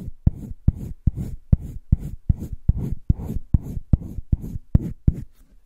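A light green wooden colored pencil is rubbed back and forth over the page of a spiral-bound paper sketchbook lying flat on a table, shading a heart shape. A steady run of short, dry scratching strokes is heard, about two or three per second, each opening with a sharp tick and fading into a soft, low rub.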